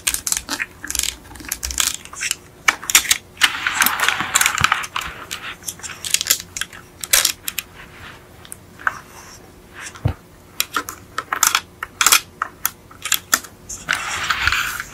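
Long acrylic nails tap and scratch the black plastic chassis plate and wheels of an upside-down yellow die-cast Beetle model car. Quick, bright clicks are broken up by two longer, hissy scratching passes, one near the start and one at the end.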